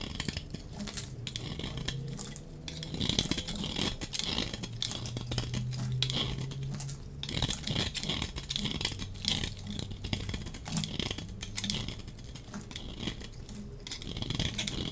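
A solid, dry pink soap bar held in the hand is scraped and shaved with a metal utility-knife blade, and the soap flakes fall onto the table. The result is a steady stream of dense, crisp scraping and crackling with bright, dry edges and many quick ticks that do not ring, over a faint low tone.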